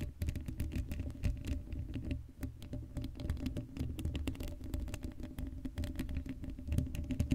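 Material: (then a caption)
Steel mesh. Long acrylic nails on both hands scratch the hollow black steel mesh grille of a Blue Yeti microphone head. The result is a dense, continuous patter of fast scratches and clicky ticks over a heavy low rumble and a steady tone near 260 Hz, with little high-end content.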